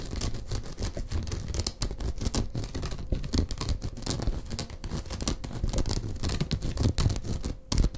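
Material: Straw.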